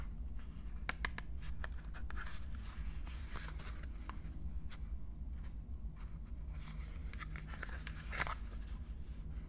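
A small printed cardboard box holding a full bar of wine soap is turned in the hands while long painted nails and fingertips tap and scratch its surface. Sharp, dry clicks and light scratchy rustles sit over a steady low hum, with the brightest taps near the start and end.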